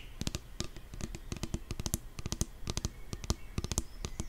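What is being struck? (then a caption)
Plastic nail polish remover pump bottle. Long nails tap rapidly on the pump top and body of a pink 175 ml plastic nail polish remover pump bottle filled with liquid. The result is a quick, irregular series of short, dry clicks, each with a dull low knock and a bright tick that stops at once without ringing.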